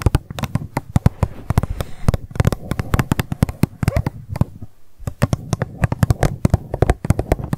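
An empty, hollow pink plastic cup lying on its side is tapped rapidly with long nails. The result is a dense run of quick, dry clicks with a low, hollow body and almost no ring. A brief pause comes just before the five-second mark, and then the fast tapping resumes.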